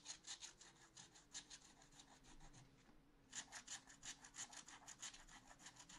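A wooden stylus scratches back and forth across a black-coated scratch art paper sheet in a spiral notebook. It makes quick, bright, raspy scraping strokes in a steady rhythm, with a brief pause near the middle before the strokes resume.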